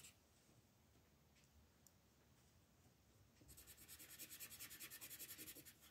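An orange colored pencil shades a flat paper coloring book page with rubbing strokes. After about three seconds of near silence with faint scratches, a steady run of quick back-and-forth strokes begins, giving a bright, dry, rhythmic scratching that grows slightly louder toward the end.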